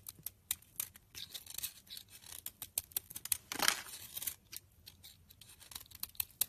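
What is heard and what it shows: A utility knife blade shaves thin layers and powdery flakes off the surface of a solid, rancid pink soap bar held in the hand. A quick, irregular run of short, dry, bright scraping and crackling strokes follows, with one longer, louder rasping pass midway through. Each stroke dies away almost at once, leaving only faint quiet between cuts.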